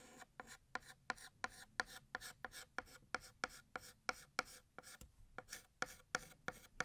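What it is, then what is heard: Chalk writing on a chalkboard. A stick of white chalk held in the fingers writes the word "Year" on a large, flat, solid black chalkboard. It makes a rapid series of short, dry, scratchy strokes, each a bright rasp with a squeaky tone near 1.4 kHz. Brief quiet gaps fall between strokes, and the strokes stop almost instantly with no ring.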